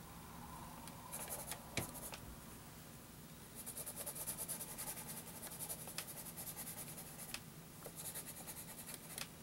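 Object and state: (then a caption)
Graph paper under pencil shading. A sharpened wooden graphite pencil rubs dense shading onto a flat sheet of graph paper, with the hand resting on the sheet. Quiet, bright scratchy strokes come in bursts, with a few sharper ticks, over a faint steady low hum.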